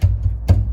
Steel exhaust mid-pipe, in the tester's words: before if i just tapped it you would just hear it just rattling through the whole car